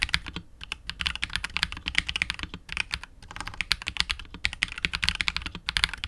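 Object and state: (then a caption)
Mechanical keyboard with plastic case and PBT keycaps. Fingertips of both hands type continuously on a KBD67 Lite R2 65% mechanical keyboard with KTT Wine Red switches, PBT keycaps and a hollow, clear translucent polycarbonate case. A rapid, uneven stream of short, bright clacks rings centered around 2 kHz, with little low thump, and each keystroke stops almost instantly.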